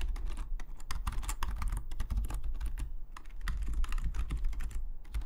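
Fingertips of both hands type rapidly on a full-size black Logitech membrane keyboard with plastic keycaps, lying flat on a desk. A fast, dense stream of short, dry plastic key taps and clacks runs steadily throughout, each one stopping almost instantly, over a heavy low rumble.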